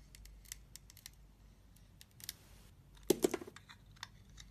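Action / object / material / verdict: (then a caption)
scrape / bar of soap cut with a steel blade / soap / none. A steel utility knife blade shaves and carves slices off a solid, hand-sized red bar soap with a glitter coating and a cream-coloured core, held in the hand. Quiet, dry scraping and crisp cutting ticks are spaced across the clip. A louder burst of cuts near the end gives a brief, bright, crackling scrape.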